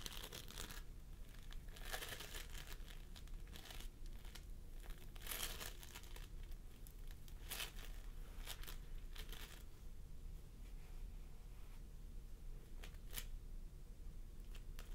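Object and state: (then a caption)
Floam sculpting foam being squished. Fingertips of both hands press and squish a pastel mound of floam sculpting foam (polystyrene beads) on a wooden table. Soft, sticky crinkling and crackling bursts with bright, high sizzling pops repeat over a steady low hum.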